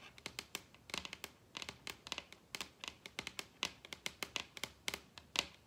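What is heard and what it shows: Long red acrylic nails tap and scratch across a large solid wooden dining tabletop. Some thirty quick, dry clicks come in an uneven rhythm, with brief scratchy strokes between them. The sound is bright and crisp with almost no low end, and each tap dies away at once.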